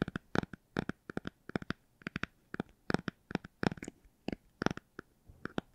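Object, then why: Hardcover book. A hardcover book is tapped and scratched for ASMR, giving quick, soft, dry taps with short bursts of scratching in uneven clusters. Each short, bright, click-like hit dies away almost at once over quiet background.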